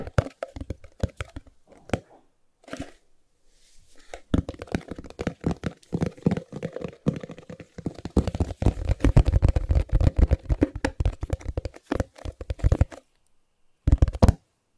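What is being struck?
Small cardboard box.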